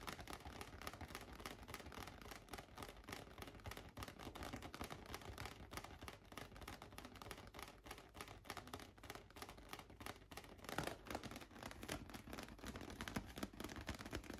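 A large light-blue inflated latex balloon, hollow and air-filled, is tapped rapidly with fingertips and nails, then lifted toward the camera. The result is a dense, steady stream of quick, soft, dull taps with short ring and a low hollow thump under brighter clicky nail ticks.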